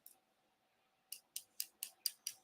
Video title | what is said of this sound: LIVE JEWELRY AUCTION SAT NITE 9 PM EST | no it sounds like glass all right